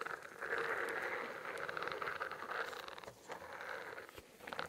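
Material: Plastic.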